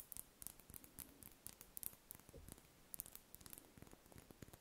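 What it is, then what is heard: Wax ball candle. A large, solid, cream-coloured spherical wax candle is held in the hands and scratched with long red nails. The result is a quiet stream of short, dry, bright scratching clicks over a soft low rustle.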